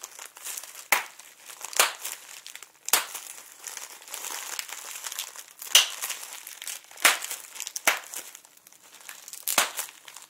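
A large, clear plastic bubble wrap sheet with air-filled bubbles is held up and crinkled and squeezed between fingertips and short nails. Steady, bright crinkling runs throughout with no low end, punctuated by several sharper, louder crackles spread across the clip.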